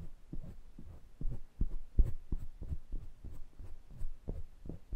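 Fingertips rub and tap the metal mesh grilles and metal rims of two small pencil condenser microphones. The result is a steady run of deep, muffled thumps, almost entirely low bass with no brightness. They come at an uneven pace like a throbbing heartbeat, each one short and dying away almost at once.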